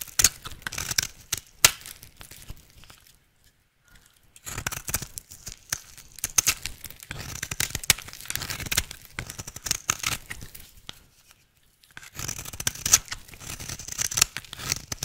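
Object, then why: Soap bar cut with a knife blade. A utility knife blade shaves an oval, solid, pink-striped dry soap bar held in the hand into fine shreds. The scraping makes bright, crisp crackling and tearing bursts in three runs of rapid strokes, separated by short silent pauses.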